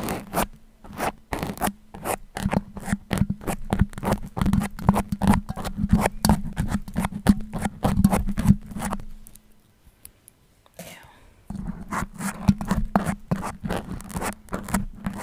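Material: Foam.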